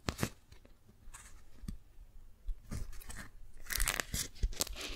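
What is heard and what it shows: Fingertips and long nails peel the folded, stuck layers of a pink strawberry-print beeswax-coated cotton food wrap apart and crinkle them. Sharp, bright crackles and tearing snaps come in bursts over soft, low rustling, with each crackle dying away almost at once.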